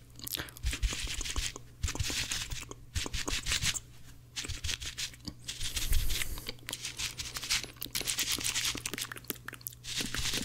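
Blue cellulose kitchen sponges, scrubber side, are pressed, bent and rubbed together by fingertips. They give dense, bright, crunchy crackling and scratchy rasps in fast bursts with brief pauses, over a steady low hum.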